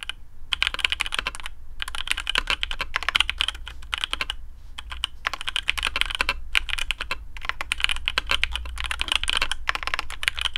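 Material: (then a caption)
PBT plastic. Fingertips of both hands type on a black custom AARU mechanical keyboard with TTC Speed Silver switches, PBT plastic keycaps on a carbon fibre plate and a hollow case. Rapid, bright, short clacks come in dense bursts separated by brief pauses, over a steady low hum.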